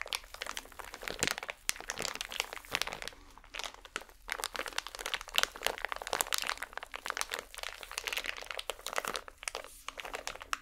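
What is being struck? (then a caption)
Small plastic packet. A small holographic plastic packet, held in both hands, is squeezed and crinkled with fingers and nails. The result is a dense, continuous stream of sharp, bright crackles and crunches that rise and fall in intensity, with almost no low end, and each crackle stops instantly.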